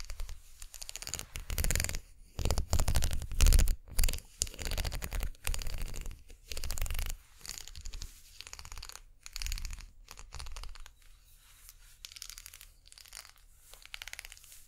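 Long nails scratch and tap along the ridged, hollow-looking plastic spiral unicorn-horn handle of a single makeup brush with synthetic bristles. The result is irregular bursts of close, bright scratching over a deep, muffled rumble, with brief quiet gaps between strokes.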